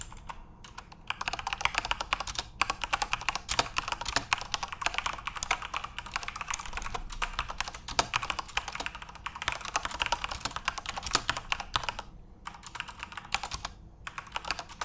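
Fingertips type fast on a backlit plastic RGB Corsair mechanical keyboard, producing a dense stream of bright, sharp key clicks with almost no ring and little low end. The tapping runs steadily for about fifteen seconds, with brief pauses near the start and around the twelve-second mark.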